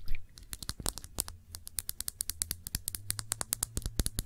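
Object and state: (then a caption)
Glass perfume bottle. Long nails tap a round glass perfume bottle with a blue cap, filled with blue liquid, in a quick, uneven run of about 35 sharp clicks. Each tap is a short, bright tick that dies away almost at once, over a steady low hum.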